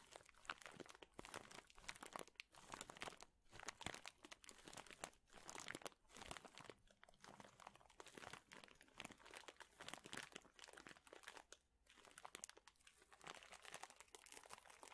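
A large clear plastic bag full of thin, flat wooden chips is squeezed and crushed with fingers and palms. The result is dense, bright crinkling and dry crunching in quick overlapping bursts, with short pauses and almost no low end.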